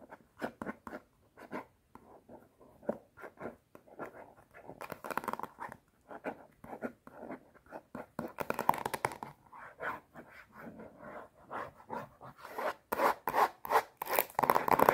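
Long nails and fingertips scratch and rub the printed card cover of a solid A4-size watercolor paper block held upright. Quick, irregular dry papery scrapes and rubs come about three per second with short, crisp decays and a midrange body. The strokes grow denser, louder and brighter toward the end.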